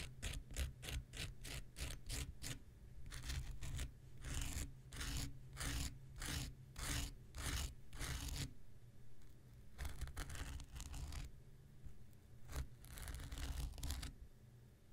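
The tip of an X-Acto knife scratches a small, solid, rectangular pink foam nail buffer block. Quick, bright scratching strokes come first, then longer rasping scrapes and a few scattered later strokes, all over a steady low rumble.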